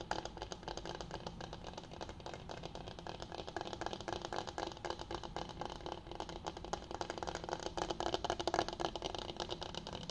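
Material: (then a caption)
Bamboo. A flat, solid bamboo cutting board is held upright with both hands while fingers tap and scratch its surface. The result is a dense, rapid, uneven stream of dry, woody clicks and scrapes centered in the midrange around 500 Hz. Each tap dies away almost instantly, with no ring.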